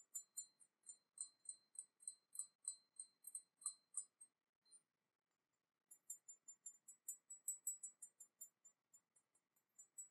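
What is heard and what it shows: A porcelain teapot painted with an Eastern dragon is tapped lightly with quick, light clinks. The short, glassy, bright taps come in a rapid run, pause for about a second, then resume. The teapot is sturdier than it looks and the tapping leaves it unharmed.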